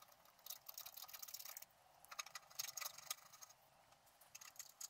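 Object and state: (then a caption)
Scratch-art card being scratched. A wooden stylus scratches leaves into a flat scratch-art card of black-coated paper. The sound is a series of quiet, dry, bright scratching strokes coming in short bursts with brief pauses between them. There is almost no low end.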